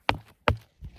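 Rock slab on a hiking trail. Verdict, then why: Hollow. Two footsteps land on a spot of the hiking trail down from Delicate Arch, each a sharp, short thud with a low boom around 90 Hz that dies away quickly. A softer third thump follows. The ground underfoot sounds hollow.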